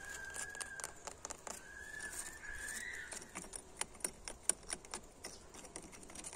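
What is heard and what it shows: Fingertips and nails of one hand tap and scratch across the faces of an old, weathered red brick wall with white mortar, solid masonry. Dry, crisp ticks and brief rasping scratches come in an irregular patter with bright, high edges. A faint steady whistle-like tone around 1.5–2 kHz hangs underneath during the first three seconds.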